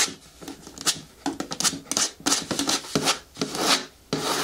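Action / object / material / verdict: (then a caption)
scrape / hard plastic bin with lid / plastic / none. Long nails scratch the sides of a large, hollow, green hard-plastic bin with a lid, producing a series of bright, raspy scraping bursts with very little low end. Each stroke fades quickly, leaving short dry gaps between the scratches.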